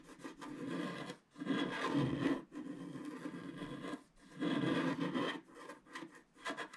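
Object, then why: Wax-coated scratch art card scratched with a wooden stylus. A wooden stylus scratches across the left side of a black wax-coated scratch art card lying flat. It makes dry, rasping strokes that swell and fade in several long passes, with short pauses and a few lighter scratches at the end.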